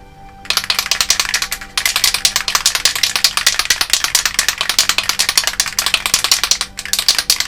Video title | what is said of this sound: How I Made Cloud Strife's Buster Sword (Final Fantasy VII Remake Cosplay Prop by TMProjection) | until you hear the rattling very nicely